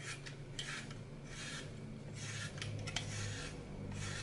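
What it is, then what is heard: Glitter-covered floral foam block being scraped. A red-handled knife cuts and scrapes the edge of a hand-sized, solid green floral foam brick with a blue glitter picture on top, held in one hand over a glass bowl. Soft, bright rasping scrapes come in bursts with a few sharp crackles, over a steady low hum.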